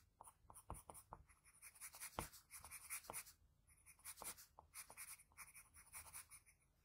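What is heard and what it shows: A graphite pencil tip scratches across a flat sheet of white drawing paper, sketching the lip line of a drawing. Quiet, dry scratching comes in a quick series of short strokes with a bright, hissy texture, broken by brief pauses.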